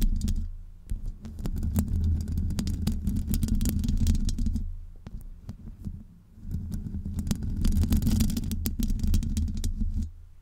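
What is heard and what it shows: Long almond-shaped nails on both hands scratch continuously over a large, hollow metal mesh microphone grille. The result is a dense, boomy low rumble with quick, irregular scratchy ticks on top. It swells twice, dipping briefly in the middle before fading at the end.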